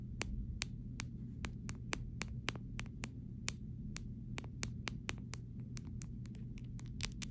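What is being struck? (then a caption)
Plastic phone case. A clear plastic phone case is tapped with a fingernail on the camera area and side, producing a steady series of short, sharp, bright clicks that die away almost instantly. A constant low hum sits underneath the taps throughout.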